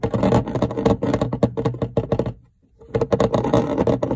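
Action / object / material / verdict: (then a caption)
tap / plastic refrigerator light cover / plastic / none. Fingertips and nails tap and scratch a flat, textured, grid-patterned translucent plastic light cover over a refrigerator lamp, mounted in the fridge wall. Rapid, dry plastic clicks and scratchy rustles blend into a dense patter with a hollow mid tone and very short ring. The sound breaks off into a brief silence midway, then resumes.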